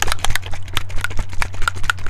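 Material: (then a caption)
Liquid paint. A bottle of high flow acrylic paint is shaken, giving a rapid series of wet sloshing, splashing sounds like water. The liquid moves freely inside, showing that the paint is very fluid.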